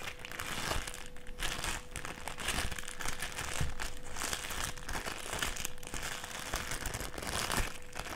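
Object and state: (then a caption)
Clear plastic sheet. A clear plastic strip is held in both hands and bent and crinkled by the fingers. It makes a steady stream of dense crinkling and crackling at an even level for about eight seconds, with a faint steady hum underneath.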